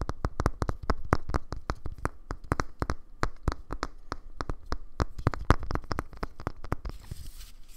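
Fingernails tap rapidly on the hollow plastic body of a small black cylindrical Bluetooth speaker held upright in both hands, producing about 37 separate short, dull, low thuds with a hollow knock. Each tap dies away almost instantly, and the run ends in a faint soft hiss.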